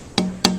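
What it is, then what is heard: Guitar top tonewood with a good tap tone. Two taps on the first guitar top tonewood set, each a bright click followed by a clear, musical ring that holds a steady low tone near 184 Hz. The first set gives a good tap tone, comparable to the second set, and both are likely from the same tree.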